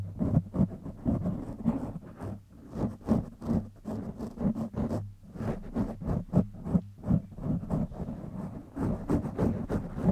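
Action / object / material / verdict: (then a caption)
scrape / foam microphone windscreen / foam / none. Fingertips scratch the top of a black foam windscreen on a silver microphone, then both hands rub its sides. The result is a rapid run of dry, crackly scratching and rubbing bursts, heavy in the low range with a muffled, boomy tone. Each burst stops almost instantly, with brief quiet dips between them.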